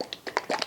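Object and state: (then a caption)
Pour paint at the right consistency. A container of acrylic pour paint mixed with Floetrol and water is shaken, giving several quick, short sloshes with a medium tone. That medium tone shows the paint is properly thinned: not the big globby glug of paint that is too thick, nor the high splashing of paint that is too thin.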